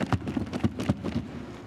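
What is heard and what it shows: A closed box with socks inside is shaken, giving seven soft, muffled thumps with low, dull tones and almost no bright content. Each thump dies away almost immediately, and the overall sound stays quiet.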